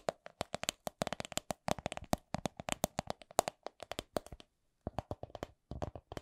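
A coin purse is tapped with a steady run of quick, dry taps at a slow-to-medium pace, each with a short bright click over a mid-range tone that dies away almost instantly. The tapping pauses briefly before resuming in a final flurry of quieter taps.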